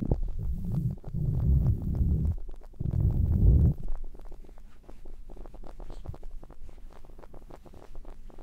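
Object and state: Faux fur earmuffs being rubbed.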